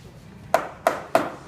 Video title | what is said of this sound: Glue-up of Footstool | sounds solid I think mine are home